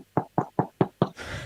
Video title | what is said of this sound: CHILL SNEAKER CHAT - Sneaker Streaming Sunday #218 | it sounds like cardboard yeah they're horrible